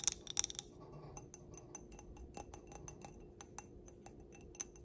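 Long black nails tap the bowl and stem of a clear stemmed glass candle holder filled with solid pink wax. A quick burst of bright, glassy clinks opens the clip, followed by a steady series of light, brief ticks with almost no ring, over a faint low hum.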